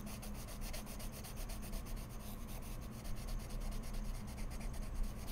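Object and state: Pencil strokes on mixed media paper.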